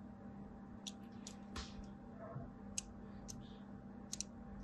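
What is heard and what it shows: A small blade cuts lines across the top edge of a solid white embossed bar of soap held in the hand. About six short, bright, crisp clicks and scratches sound over a steady low hum. Each stops sharply with no ring.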